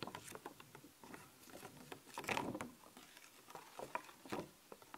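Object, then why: Thin flexible plastic sticker sheet. Long nails tap and scratch the surface of a thin, flexible clear plastic sheet of skeleton-cat stickers held up in the air. The result is quiet, dry ticks and crinkly scratches with little low end and a bright edge. A louder, longer scratchy rustle comes in the middle.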